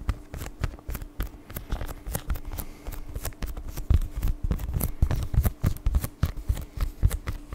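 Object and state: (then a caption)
Plastic blister package with card insert. A flat, hollow, palm-sized clear plastic blister package with a printed paper card insert is held in both hands and tapped and scratched with the fingertips and nails. It makes a fast, irregular stream of crinkly taps and short bright scratches, with dull low thuds under them and a faint steady low hum behind.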